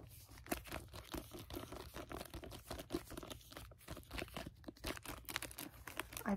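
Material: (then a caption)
Plastic, cardboard. Fingers grip and tap a library hardcover book with a red tree cover under a clear plastic jacket. A steady run of quick, soft taps mixes with crinkling of the plastic, giving dry, short sounds with no ring.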